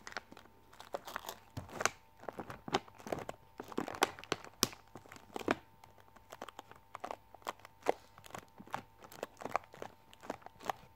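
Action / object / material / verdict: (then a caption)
scrape / plastic film candy bag / plastic film / none. Long manicured nails tap and scratch across the front of a plastic-film Skittles Chewies sweet bag held up close. Sharp, bright crinkles and quick taps come in scattered bursts over a faint steady hum.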